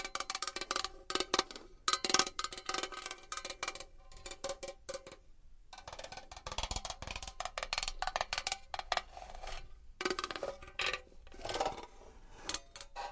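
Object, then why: Metal box. A metal box is tapped and scratched with long nails, giving rapid, bright clicking taps with short metallic rings and bursts of scratchy rasping. The taps come in dense irregular clusters with brief pauses between them.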